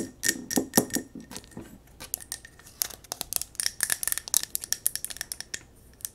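A small silver mercury-glass jar candle with a yellow wax top and metal rim is held in the hands while long nails tap fast on the wax surface, the glass sides and the rim. The result is a rapid string of short, bright clicks and light glassy ticks with a faint ringing tone around 2 kHz, growing denser and sharper toward the end.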